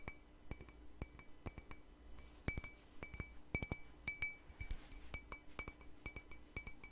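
A small, hollow, empty white ceramic cup held in one hand is tapped with fingernails in an irregular series of quick, bright clinks. Each tap gives a short ringing tone near 2.3 kHz with high overtones and dies away almost at once, over a steady low background hum.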